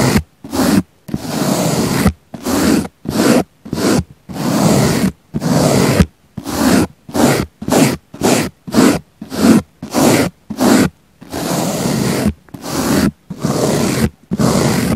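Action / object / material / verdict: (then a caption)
scrape / foam sponge brushed with a small bristle brush / foam / none. A small pink bristle brush held in the fingers brushes and scratches the surface of a round, solid, soft, palm-sized pink foam sponge. It makes a series of short, dry, rasping strokes separated by brief silences, with a low, rough texture and some high hiss.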